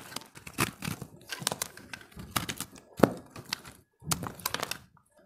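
A utility-knife blade carves a solid, hand-held recycled soap ball of pressed multicolored dry soap, scraping and chipping pieces off. Many short, dry cracks and crumbly scrapes come in clustered bursts with brief pauses, and the sharpest snap lands near the middle of the clip.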